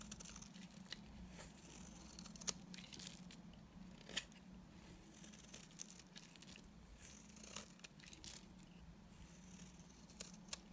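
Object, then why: Tar soap bar scraped with a knife blade. A solid, dry, dark brown tar soap bar held in the hand is scraped with a utility knife blade, shaving it into brown curls. Soft, bright scraping and crinkling runs throughout, broken by sharp, irregular clicks as the blade catches and the curls break away. A steady low hum sits underneath.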